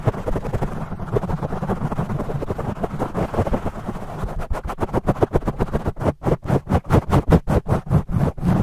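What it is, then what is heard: Foam microphone windscreen being scratched. Fingertips and nails scratch and rub a black foam microphone windscreen, with the audio sped up 2x. A dense, muffled, low scratching rumble gives way to quick, rhythmic, brushing strokes that become sharper and more separated toward the end.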